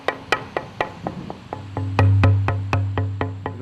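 A dried tonewood plank meant for a guitar soundboard is tapped 15 times in a steady rhythm, each tap giving a clear, bright knock with a short ring around 266 Hz over a low hum. The clear tone shows the wood is properly dried.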